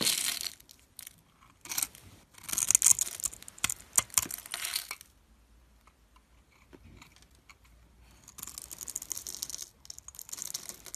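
A solid oval teal bar of opaque soap, pre-scored in a grid, is held in the fingers while a metal utility blade carves and scrapes small cubes off its surface. The cuts make bright, crisp crackling and scratching bursts in clusters, with quieter pauses between them and a longer run of scraping near the end.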